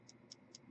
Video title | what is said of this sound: What Not to Lube on an AK 47 AKM | it's supposed to be what's called free-floating as I shake it you can hear it rattling around